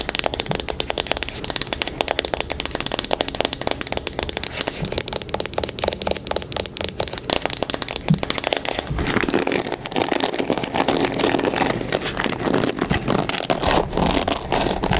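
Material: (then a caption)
Plastic. Long nails tap rapidly on the plastic back of a teal plastic paddle hairbrush, making a dense run of sharp, bright clicks. Around the nine-second mark the brush is turned toward its black bristle side, and the tapping gives way to a rougher, more continuous scratchy rustle.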